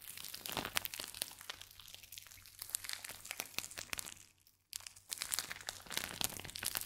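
A small clear plastic pouch filled with purple crinkly or beaded material, with a small chalkboard tag clipped on top, is held in both hands and squeezed and scratched with the fingertips. Dense, bright crinkling and crackling comes in quick bursts, drops to near silence for about half a second, then resumes just as busily to the end.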